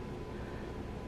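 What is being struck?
Nothing is struck.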